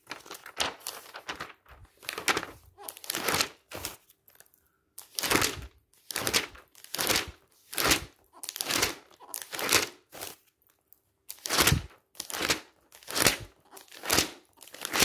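Fingertips turn the pages of a thick glossy paper magazine lying open on a stack and brush across the glossy paper. Repeated bright, crisp swishes and crinkly flutters come in uneven bursts separated by brief quiet gaps.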